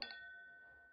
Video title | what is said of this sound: Edition du soir 07/03/2018 | la brillance la résistance la transparence et le son du cristal tout ça sans plomb